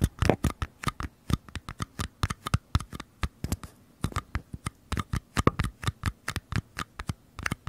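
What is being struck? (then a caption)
Small paper cups. Small empty mini paper cups, held sideways one in each hand, are tapped and scratched on their outer walls with fingertips and nails. About forty quick, dry taps sound in an irregular patter, each a short papery click with a soft low thump that dies away almost at once. Faint scratchy rustles fill some of the gaps.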